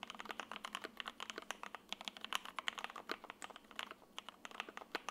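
An F1-8X 80% mechanical keyboard in silver and lavender, with a sandwich PC plate, foam, and ABS keycaps, is typed on continuously with the fingertips of both hands. About 35 quick, bright clacks come in an uneven rhythm, each dying almost instantly. They carry no low end and have a sharp tone centered around 3 kHz.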